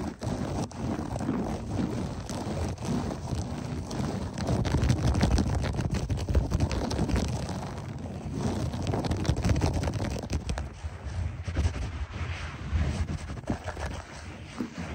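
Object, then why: Loop-pile carpet. Clawed fingertips and short nails of both hands rake fast and aggressively across beige textured berber loop-pile carpet, sometimes close up. The result is a dense, continuous, muffled scratching dominated by low rumble with little bright content, swelling and easing in loudness throughout.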